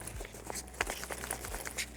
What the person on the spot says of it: it's still a little bit jingly but it's not too bad